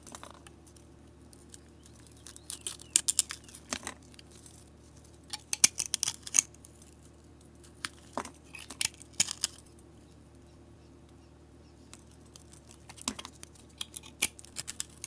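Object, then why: Soap bar with painted coating. A metal blade shaves the painted, glitter-coated surface off a solid oval soap bar held in the palm. Short bursts of crisp, bright scraping and crackling come in clusters, separated by quiet pauses over a faint, steady low hum.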